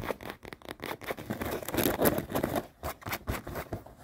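Long nails scratch quickly over light-blue denim jeans and their seams while the jeans are held and lying in a suitcase. The result is a rapid, uneven run of dry, rasping scrapes that swell louder in the middle, then come in shorter bursts.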